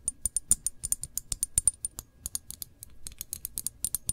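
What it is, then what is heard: Glass jam jar tapped with nails. Long nails tap and scratch on the body of a full glass jar of cranberry jam with a paper label, held tilted. About 28 sharp, quick clicks and ticks sound in an uneven rhythm, each with a bright glassy ping that dies away almost at once, with a soft scratching stretch near the end.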